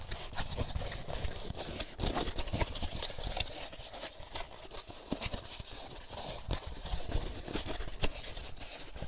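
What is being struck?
Empty molded paper pulp egg carton.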